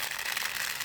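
Dry mung beans, tiny green beans in a bottle, are shaken from side to side, producing a continuous dry, hissing rattle. The sound is bright and concentrated in the high frequencies, with almost nothing in the low end.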